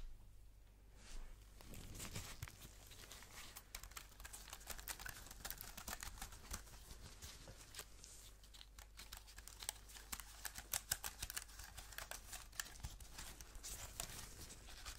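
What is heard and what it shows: Gloved fingers hold and tap a thin white wireless Apple keyboard with an aluminum body and plastic keys. The result is a quiet, dense stream of quick, crisp clicks and crinkly scratching over a steady low hum.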